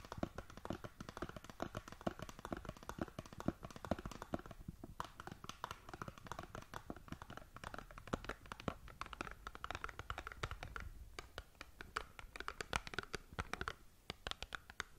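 Long nails scratch and tap rapidly across the printed surface of a small cardboard skincare box held horizontally in both hands. The result is a dense, quiet stream of short, dry, crisp scratches and clicks with no ring, centered in the midrange with some low thump from the handling.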